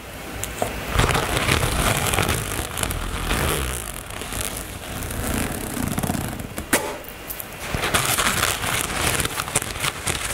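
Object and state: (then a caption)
Fabric cosmetic bag. Long nails scratch and tap the fabric top of a black floral nylon toiletry bag, seen close up. A steady, bright rustling scrape runs throughout, broken by irregular sharp taps and crackly ticks.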